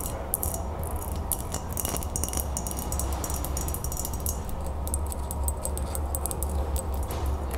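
An empty, clear, embossed glass mason jar of medium size, hollow with an open top, is held and tapped all over with long acrylic nails, then set down on a table and tapped again, with a paper straw lying aside. Rapid, sharp, high clicks and ticks come in a dense, continuous stream over a steady low hum.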